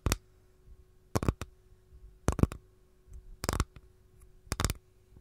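Long gold nails tap and scratch the underside of an empty capiz shell tray held edge-on. Short, dry clicks come in about five clustered bursts spaced roughly a second apart, each fading almost at once over a faint steady hum.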